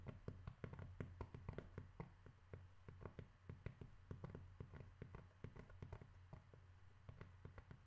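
Steady, rapid tapping on cork, with dozens of soft, dull, low thuds in an irregular rhythm. Each tap dies away almost instantly, over a faint continuous low hum.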